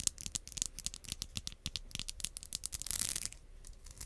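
Long acrylic nails strum the teeth of a pink solid plastic wide-tooth comb held close in front of the microphone. The result is a rapid series of short, bright clicks and scratchy plucks. Near the three-second mark they blur into a denser, hissy rasp before the clicks return.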